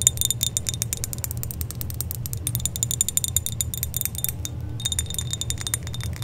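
A small silver-colored metal chain necklace with pendants is held up by a hand with long dark nails and shaken, so the links and charms jingle together. Rapid, bright, tinkling clicks and chime-like rattles run continuously over a steady low rumble.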